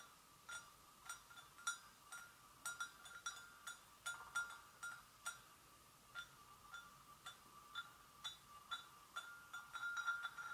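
A hollow, empty white porcelain gravy boat is tapped gently with long nails on its handle and sides, producing about twenty quiet, separate clicks. Each tap gives a short, bright ring centered near 1.4 kHz that fades within a fraction of a second.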